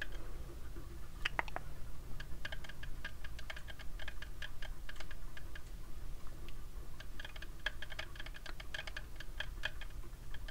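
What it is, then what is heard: Plastic sunglasses frame tapped. Fingertips and nails tap the frame of small white plastic heart-shaped sunglasses with dark lenses, worn on the face. Quick, light, dry clicks and ticks come in irregular bursts, each dying away almost at once, over a steady low rumble.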